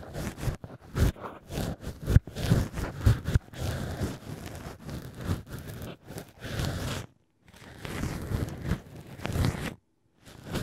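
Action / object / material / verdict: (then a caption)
scrape / cork stopper with drilled hole, scraped by ear pick with brush tip / cork / none. A black ear pick with a brush tip scratches and rubs inside the drilled hole of solid cork wine-stopper pieces shaped as an ear. Close, dry rustling and scraping come in short bursts with a deep, low-heavy body, broken by two brief near-silent pauses.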